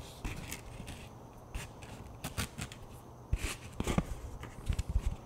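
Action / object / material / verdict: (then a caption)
tap / thin plastic flying disc / plastic / none. Fingertips tap and rub the face and rim of a thin plastic flying disc with a black stripe. Soft, dull low thumps mix with short bright clicks and quiet scratchy rubbing between them. Each tap dies away almost instantly, with no ring.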